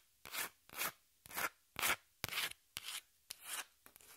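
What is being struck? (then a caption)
Corrugated cardboard piece. Long pink nails scratch the face and edge of a small, flat piece of brown corrugated cardboard held upright in the hands. The result is a steady series of short, bright, rasping strokes with quiet gaps between them.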